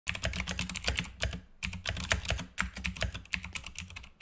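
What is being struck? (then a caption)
Plastic mechanical keyboard keys. Fingertips of both hands type fast on a full-size black Razer mechanical keyboard with plastic keycaps and a green backlight, resting on a desk mat. A rapid run of short, sharp clicks with bright, clacky tops and a low thock underneath comes in dense bursts, with a brief pause near the middle. Each keystroke dies away almost at once.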